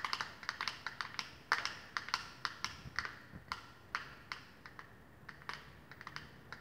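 A flat rectangular plastic glitter eyeshadow palette with a clear lid showing the glitter pans is held in the hands and tapped quickly with long painted fingernails. About 27 short, dry, clicky taps come in an uneven rhythm, bright and crisp with almost no ring and little low end.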